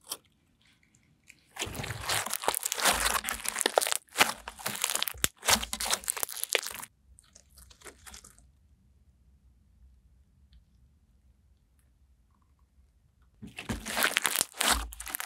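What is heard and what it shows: Clear glitter slime is stretched between the hands, then folded and pressed on a table with long nails, giving bursts of bright, wet crackling and popping. Two long stretches of dense crackle are separated by brief pauses. A quiet lull follows before a final burst of crackling.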